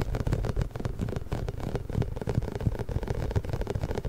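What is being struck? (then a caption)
Inflated rubber massage ball with small spikes. A large pink, inflated, hollow rubber massage ball with small spikes is held behind the mic and rubbed and squeezed with fingertips. It produces a steady stream of dull, low, rubbery scrapes and soft thuds that sit almost entirely in the deep bass, with almost no bright content.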